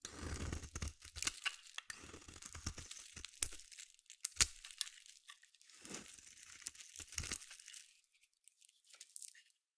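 A hand-held solid orange bar of soap is carved and scraped with a metal utility blade. The blade makes quiet, bright, crackly scraping and shaving sounds in short bursts with occasional sharper clicks. The strokes trail off into sparse soft scrapes at the end.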